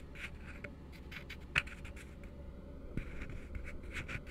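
Fingertips and nails scratch and tap the side and base of an empty, hollow plastic cup turned open end down. Soft, papery scratching strokes with a bright edge around 2.6 kHz run throughout, broken by a sharp, short tap near the middle and a lighter one later. A steady low hum sits underneath.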